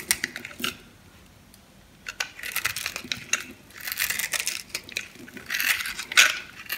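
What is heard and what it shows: A metal knife blade cuts through the grid-scored surface of a solid light-blue bar of soap held in the palm, carving and crushing it and breaking off small cubes. Bright, crisp crunching and clicking bursts come in irregular clusters, with a quiet pause early on, before denser, louder crumbling toward the end.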